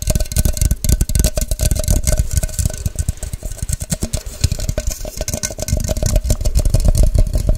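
Long white nails tap fast and hard on a tall, hollow, empty clear plastic measuring cup or shaker with a white cap and printed scale. The result is a rapid, uneven stream of hollow, low thuds with short, dull knocks and a faint bright click on each strike.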